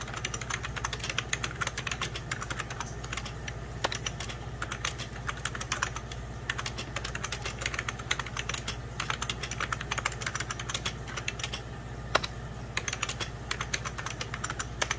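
A full-size 90s Packard Bell keyboard, with beige plastic keys over a hollow plastic case, is typed on rapidly with fingertips and short nails. The result is a dense, continuous stream of sharp, dry plastic clicks and taps with bright edges that die away almost instantly, over a steady low hum.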